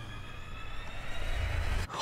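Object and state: Nothing is struck.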